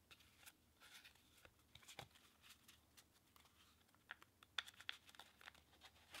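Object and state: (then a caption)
Paper playing cards being riffled. A deck of pink/red-backed paper playing cards is held above a table, fanned and riffled through with the fingertips and thumb. Quiet, crisp papery flicks and snaps come in an irregular, quick patter with bright, dry edges. A few sharper card snaps stand out near the end over a soft background hiss.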